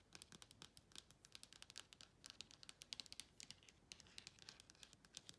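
Long pointed nails tap and scratch quickly on a phone in a clear plastic case with a printed "ASMR" insert. The result is a rapid, uneven run of quiet, bright plastic clicks and scratchy rasps, all crisp and high-pitched with no ring.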